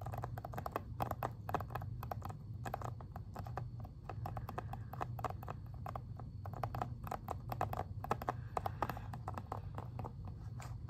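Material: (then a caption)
Plastic. Fingernails tap quickly on an Xbox 360 plastic game case, first along the spine and then across the back cover. The result is a dense, steady stream of short, dry plastic clicks with a mid-range ring, over a constant low hum.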